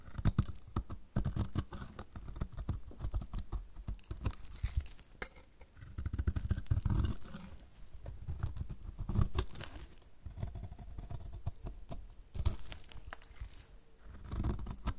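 A metal utility blade shaves strips off the edge of a solid, dry yellow soap bar with quick, repeated strokes. The sound is a steady run of dry, crumbly scraping crunches, weighted heavily toward the low end, with each stroke dying away almost at once.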